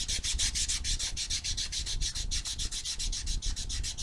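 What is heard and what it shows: A small solid foam nail buffer block with white and blue abrasive sides is rubbed back and forth across fingernails in quick strokes. Each stroke makes a bright, dry scratchy hiss, over a soft low rumble, in a steady but slightly uneven rhythm of about 28 strokes.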